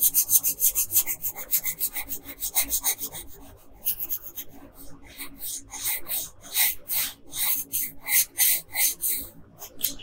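A wooden colored pencil rubs and shades across a thin paper coler sheet lying flat on a table in steady back-and-forth strokes. About two dozen bright, high, scratchy rasps follow one another, quick and dense at first, softening briefly in the middle, then returning as stronger, more spaced strokes.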